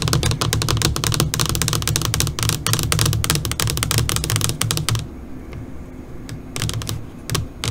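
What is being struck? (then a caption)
Flat LCD monitor screen tapped with fingernails. Long nails on both hands, with fingers curled, tap rapidly on a flat black LCD computer monitor screen, making dense, bright, clicky taps like fast typing over a steady low hum. After about five seconds the tapping thins out to a few scattered, quieter clicks before a short burst returns near the end.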